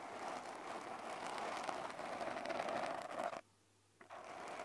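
Fingertips with short lilac nails scratch and squeeze a small, soft, porous black polyurethane foam windscreen on a handheld recorder. The result is a dense, continuous crackling rustle centered in the midrange. It cuts to near silence for about half a second and then resumes.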